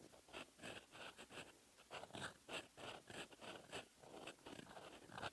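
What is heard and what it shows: A metal fountain pen nib scratches across the lined paper page of an open notebook, writing in red ink. Quiet, dry, scratchy strokes come in quick, uneven bursts with bright, hissy edges and almost no low end, each stroke stopping dead with no ring.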